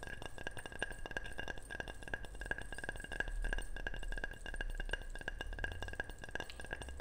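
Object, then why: Ceramic object. A ceramic object is tapped repeatedly and quickly, giving bright, short chinks and clinks with a steady ringing tone around 1.6 kHz. Each tap dies away almost at once over a low background rumble.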